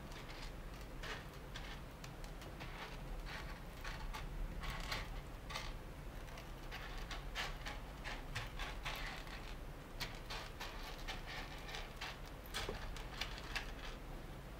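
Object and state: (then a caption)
Loose roasted coffee beans. A shallow layer of loose roasted coffee beans sits in wooden table panels while fingertips and nails scratch, rake and rub through it, and palms press it flat. The result is a steady, quiet bed of dry rustling and crackling, with many short bright clicks and rattles scattered across the clip over a low, continuous rumble.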